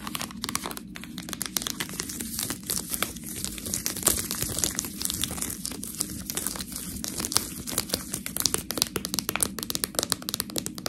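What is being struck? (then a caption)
Plastic package of fresh tortellini. Long nails scratch and tap a full, clear plastic bag of fresh tortellini held up in the air. It makes a continuous bright crinkling with dense, rapid clicks and scratches, over a soft, low rustle that stays steady throughout.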